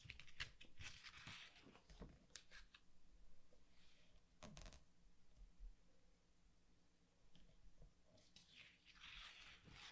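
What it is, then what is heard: Glossy paper artbook pages. Fingertips and a palm rub across the glossy paper pages of a large softcover anime artbook lying open flat on a wooden table, then turn the pages. Soft, bright swishing strokes alternate with crisp, crinkly snaps as pages lift and flip. The clip is quiet overall, with a faint low rumble underneath.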